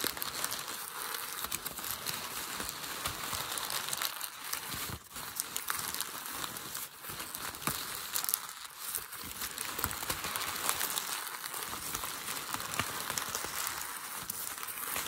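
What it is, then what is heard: Crumpled packing paper. Fingertips crinkle and crush a hollow wad of thin grey packing paper against a table. A steady, dense crackle of bright, papery rustling and crunching runs throughout, with a brief softer moment near the five-second mark.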